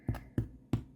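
A freshly baked homemade Italian bread loaf, just pulled from the oven, is tapped on top three times, giving short, dull, low thumps that die away quickly. The loaf sounds done.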